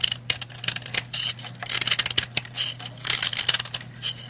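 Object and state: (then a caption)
Powdery bath bomb being scraped. A heart-shaped white and red pressed-powder bath bomb, held in the hand, is scraped with a metal knife blade, sending crumbly powder flying off. The blade produces a run of quick, dry, bright scratching strokes, with some bursts sharper than others and each one cutting off almost immediately. A faint low hum continues underneath.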